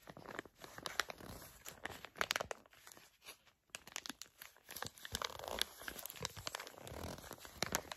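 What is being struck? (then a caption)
Foil and plastic face mask sachet. Long nails crinkle and squeeze a filled, flat printed foil-and-plastic face mask sachet, producing a steady stream of quiet, sharp, bright crackles and crunches. The crinkling briefly drops off near the middle before resuming just as densely.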